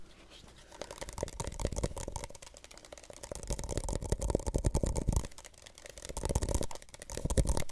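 A plastic Solo cup is tapped softly and steadily with no talking. Dull, muffled taps in uneven bursts rise and fall in loudness, with most of the sound sitting low and each tap dying away almost instantly.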